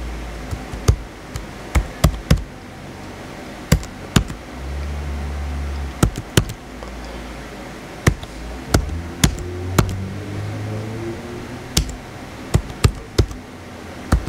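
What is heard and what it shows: Fingertips type and tap on the white plastic keys of a small blue plastic HP laptop resting on a table. Sharp, dry clicks land irregularly with very short decay. A low, steady hum swells underneath at times.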